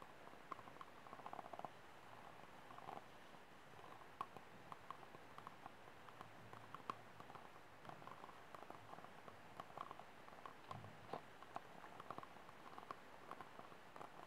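Fingertips and nails tap and scratch the ribbed wall of an empty, hollow, white disposable plastic cup held upside down. Soft, quick taps with a faint hollow ring around 1 kHz mix with a dry, rasping scratch over the ribs. The sound stays quiet throughout, with a low rumble underneath.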